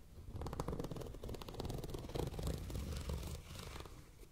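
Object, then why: Plastic zipper pouch. Long nails scratch and tap rapidly across a tall, transparent holographic plastic zipper pouch with printed lettering and items inside. The result is a dense, continuous stream of soft crinkly ticks and scrapes with a low, muffled rumble underneath.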